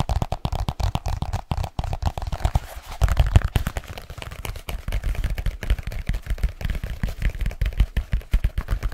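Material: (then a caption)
Leather. Fingertips tap quickly on a black leather case folded small in the hands. They make a rapid, uneven run of dull, low thuds with almost no ring. Each tap dies away at once, with a faint papery rustle between them.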